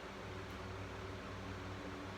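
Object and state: Nothing is struck.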